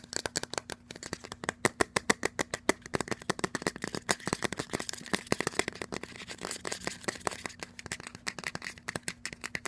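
A small, hollow, white plastic lotion squeeze bottle with a flip cap and a barcode label is held in the hand, tapped fast and scratched with fingernails. The result is a rapid stream of sharp, hollow plastic clicks that die away instantly, with soft scratching between them over a faint steady low hum.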